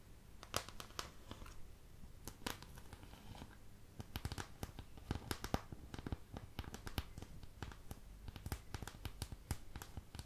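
Long patterned nails scratch and tap across the surface of a thin, empty white plastic paint palette with domed wells. Quiet, crisp ticks and dry crackling scratches come in quick irregular bursts over a low, steady rumble.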